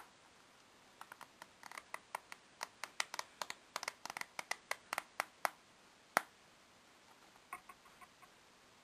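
A full, solid deck of coated paper playing cards is held upright in both hands over a wooden table while a thumb riffles and flicks along the card edges. About 27 crisp, dry ticks and flaps are heard in an irregular stream, thin and bright with no low end, with the sharpest snap just after six seconds. The ticks then thin out toward the end.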